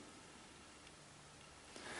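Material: Nothing is struck.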